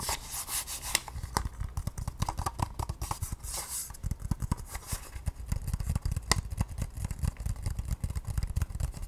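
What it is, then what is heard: Plastic case tapped and scratched. A small, hollow white-pink hard plastic case is held in both hands and tapped and scratched with long painted nails. Rapid, closely spaced hollow taps and clicks mix with scratchy rubbing, most of the energy sitting in a dull low thump with brief bright clicks on top. Each tap dies away almost instantly with no ring.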